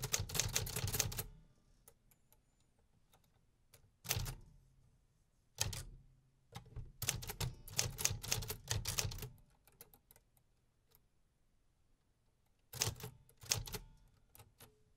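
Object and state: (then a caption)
Metal typewriter being typed on. Fingertips type on the keys of a 1950s Remington metal typewriter with paper in the carriage, producing bursts of rapid mechanical key and typebar clacks. The clacks are bright and sharp with a low thump beneath them, and the typing runs in irregular bursts separated by short quiet pauses.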